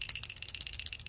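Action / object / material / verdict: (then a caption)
shake / plastic chlorinator check valve / plastic / free. A plastic check valve from a Pentair 320 chlorinator is shaken, producing a quick, bright rattle of light clicks. The rattle shows the internal ball moves freely, meaning the valve is working properly.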